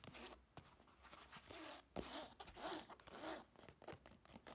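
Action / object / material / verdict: scrape / textured fabric clutch bag / fabric / none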